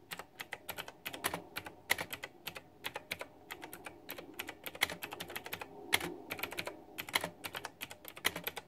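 Fingertips with long nails type rapidly and densely on a white backlit plastic retro mechanical keyboard with round typewriter-style plastic keycaps. The result is a quick, uneven stream of sharp, bright clicks and clacks that die away almost instantly over a faint low hum.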